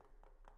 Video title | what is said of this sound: Extremely Efficient And Beautiful | basically a hollow wall even if I had insulation in that you could still hear that hollowness here